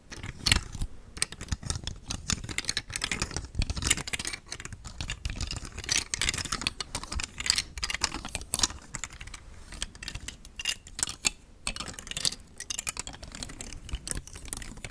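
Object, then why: Thin hard plastic telescoping star rings. A plastic telescoping star fidget toy made of nested thin hard plastic rainbow star rings starts collapsed flat and is then extended as fingers with long nails push the rings. This makes a steady stream of rapid, bright, dry clicks and light rattles. Each click is sharp and dies away almost instantly, continuing throughout the clip.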